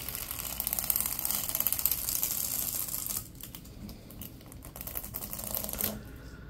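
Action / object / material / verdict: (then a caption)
scrape / ribbed plastic tube / plastic / none. Latex-gloved hands stretch a hollow, yellow, ribbed plastic pop tube and compress its ridges, producing rapid, bright, crackly clicks. The clicking is dense and steady for about three seconds, then drops to quieter, sparser clicks, with a short louder burst near the end.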